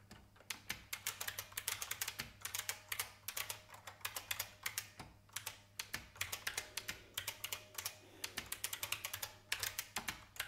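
Fast two-handed fingertip typing on a vintage beige IBM mechanical keyboard with plastic keys makes a steady stream of sharp, bright clicks that die away almost instantly. The strokes come in quick bursts with brief pauses, over a faint low hum.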